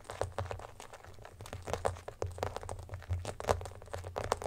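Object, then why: Clear plastic phone case. An empty clear glitter plastic phone case, first lying on a blanket and then held up, is tapped and scratched on the back with fingertips and nails. Many quick, dry clicks and scratchy taps with brief bright ticks land over a steady low hum.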